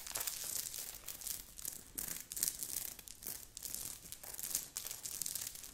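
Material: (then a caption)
Knit fabric. Long nails on both hands scratch fast and hard over a grey knit sweater, worn on the body, with a beaded, sequined heart on the chest. The result is a run of quick, crisp scratching and crinkling bursts, mostly bright and high with very little low end. It rises and falls in rapid waves throughout.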